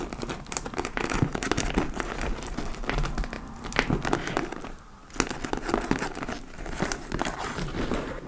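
Long nails scratch with both hands across the top flap and upper front panel of a hollow dark-brown leather (possibly faux) handbag. A dense, crinkly scratching and crackling runs throughout, full of quick sharp clicks. It briefly quiets near the middle before a sharp snap restarts the steady rasping.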